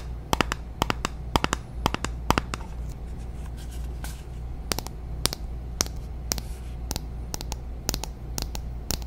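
A small glass foundation bottle filled with beige liquid and topped with a shiny silver cap is held in the hands and tapped and scratched with long natural nails on both the glass and the cap. Sharp, bright clicks and ticks come in an irregular series over a steady low rumble, with soft scratchy rustling between them and a faint tone around 900 Hz. Each tap is dry and stops at once, with no ringing.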